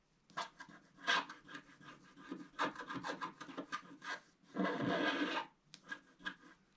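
A wooden stylus scratches the roof area of a black-coated, wax-coated scratch art sheet lying flat. Short, dry rasping strokes come in quick bursts, followed by one longer, steadier scrape and a few final light scratches.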